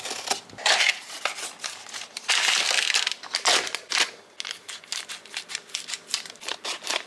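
A makeup brush with a metal ferrule is rubbed and swirled on a shimmery pan of solid pressed powder eyeshadow in a small yellow plastic palette of six pans. The clip is dry, bright scratchy brushing in quick bursts of rubbing strokes, with longer swirls in between and almost no low end.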